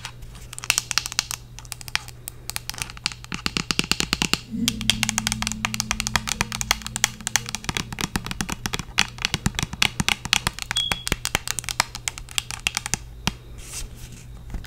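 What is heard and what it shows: Long acrylic nails rapidly tap and scratch a Bath & Body Works White Pumpkin & Chai body lotion bottle, a hollow white plastic squeeze bottle with a flip cap that appears filled. The result is a dense stream of sharp, bright, dry clicks with very short decay and some scratchy texture, over a steady low hum. A faint low tone runs in the middle of the clip.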